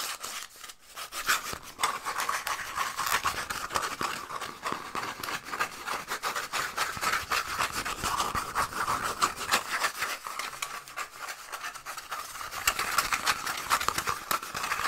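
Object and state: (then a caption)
Cardboard tube scratched with fingernails. A small, hollow, empty brown cardboard toilet paper tube, held in both hands close to the microphone, is scratched fast and aggressively with fingernails. The result is a dense, rapid stream of dry, raspy scratches with a bright hiss and a hollow tone around 1.2 kHz, briefly easing near the start and around the ten-second mark before growing louder toward the end.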